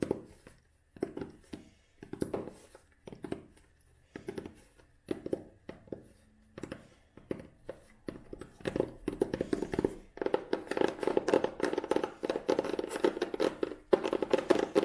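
Long nails tap and handle the cover and edges of a solid old hardcover book with a tan cloth cover and red spine. Short, dry, muted taps come in quick clusters, with almost no ring and a woody midrange tone. In the second half they thicken into a dense, continuous run of scratchy tapping and rubbing.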